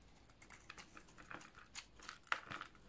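A snap-off utility knife blade shaves and scrapes a hand-sized, solid green oval bar of dry soap, curling off flakes. Quiet, crisp crunches and dry scratchy ticks come in a quick, uneven series, bright with little low end and a brief tone around 1.4 kHz on the sharpest cut.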